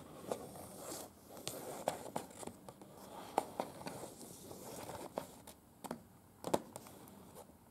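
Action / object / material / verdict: scrape / paper leaflet / paper / none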